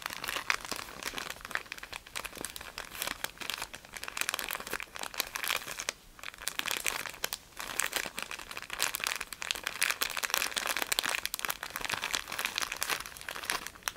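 Bare fingertips of both hands squeeze and crinkle a small white soft package in a thin printed plastic wrapper, likely tissues or wipes, held close. It makes dense, continuous, bright crinkling with rapid sharp crackles and almost no low end, staying steady for the whole clip apart from brief quieter dips near 6 and 7.5 seconds.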